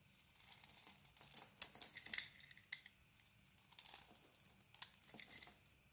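A steel utility blade scrapes the green and yellow patterned coating off a solid, hand-sized rectangular bar of soap, shaving away crumbly white soap. The sound is a quiet series of bright, crisp scratching and crinkling strokes with short, dry bursts and almost no low end.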